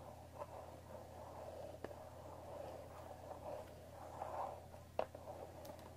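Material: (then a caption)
Cardboard. Long dark fingernails tap and scratch across the top of a cardboard Earl Grey tea box resting on a wooden table. Quiet, continuous papery scratching centred in the midrange sits over a faint low hum, broken by a few short, sharp taps that die away almost instantly.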